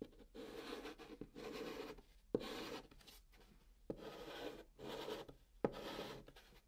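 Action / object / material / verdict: scrape / chalk on cardboard box / cardboard / none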